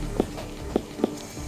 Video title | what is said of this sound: Greyhound's Playtime Ends With A Shattered Leg - Bondi Vet | We know when it's right when we can flick it and it sounds like a watermelon. Means that the pressure is enough.